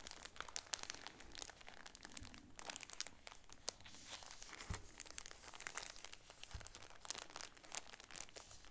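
A shower curtain with a red sunburst pattern, packed in a clear plastic bag with a grommet, is crinkled along the top by fingernails and then squeezed with both hands. Dense, bright plastic crinkling and crunching crackles continuously over a faint low rumble, with short sharp snaps scattered throughout.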